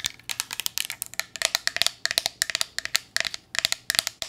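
Long nails tap quickly along the body of a slender green glass bottle with a paper label, partly filled with liquid and held horizontally. The taps come in a steady stream of bright, sharp clicks with a glassy ring that dies away almost instantly.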